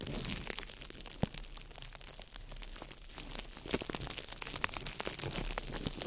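A small ball of crumpled clear plastic wrap is crinkled by fingertips over the microphone. The result is a steady stream of dense, crackling crinkles with many sharp, bright ticks scattered through a soft, continuous rustle.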